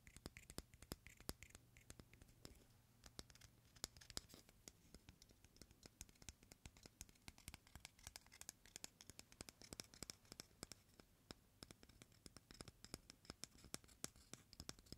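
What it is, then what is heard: Raw egg shell scratched. Fingernails scratch and rub the hard shell of a single whole white raw hen egg held in the hands. The result is a quiet, steady stream of dense, bright scratchy ticks and rasps that continues throughout the clip, with a faint low hum during the first few seconds.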